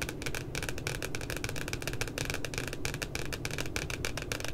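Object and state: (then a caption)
Spiral notebook with glossy paper cover. Fingertips and long nails of both hands tap and scratch around a printed puppy's face on the glossy paper cover of a spiral notebook. A steady stream of quick, crisp clicks and scratchy rustles sits over a dull low thud, with each tap dying away almost instantly.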